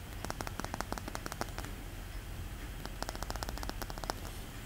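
A palm-sized, solid, polished pink rose quartz sphere is held in both hands and tapped and scratched with fingertips and short nails. Quick, dry, bright clicks come in two clusters with a short pause between, each tap dying away almost at once. A soft, low background rumble runs underneath.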